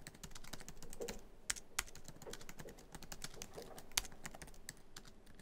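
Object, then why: Laptop keyboard, plastic keys in metal body. Fingertips of both hands type quickly across a MacBook Pro keyboard, whose black plastic keys sit in a hollow silver aluminum laptop body. The result is a steady stream of quick, dry, bright key clicks with no ring, and a few louder, sharper clacks stand out.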